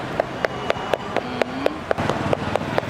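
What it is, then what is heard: Ripe durian. A ripe durian is knocked eleven times in a steady rhythm, each tap giving a short, hollow, puffy thud with a mid-pitched tone around 625 Hz over faint background noise. The hollow sound marks the durian as ripe and ready to eat.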